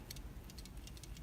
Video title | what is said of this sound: How To 004: Refridgerator Not Cooling | So another way to tell that the relay is bad is when you shake it, you'll hear a slight rattling on the inside.